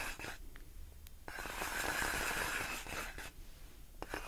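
Long nails scratch and tap on large clear inflated plastic air-column packaging with hollow air-filled tubes. A dry, crinkly scraping swells into a brighter hiss with a faint squeaky tone in the middle. Sharp taps click in and out across the clip.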